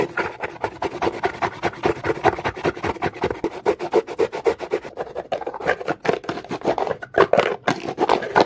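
A comb's teeth are raked fast across a dark, rough-textured, solid rock, fist-sized or larger, resting on a carpet. A rapid, continuous series of dry, raspy scraping strokes, centered in the midrange with little low end, each stroke short and clipped with almost no ring.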